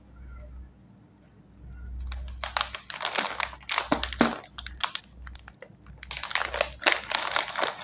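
A full, sealed Scene On Krunch Red Chili Dhamaka snack bag, a small foil-lined metallized plastic chip bag, is squeezed and crinkled with the fingers while being rotated. After a quiet stretch with a low hum, dense, irregular bursts of bright, crackling crinkles follow, each dying away almost at once.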